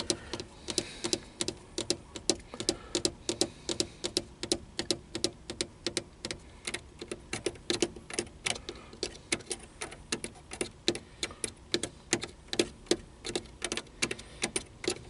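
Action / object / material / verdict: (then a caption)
tap / plastic car stereo buttons and faceplate / plastic / none. Fingertips rapidly tap the small buttons and faceplate of a hollow black plastic car stereo. About 69 sharp, dry plastic clicks come in a quick, uneven rhythm, each dying away almost at once over a faint background hiss.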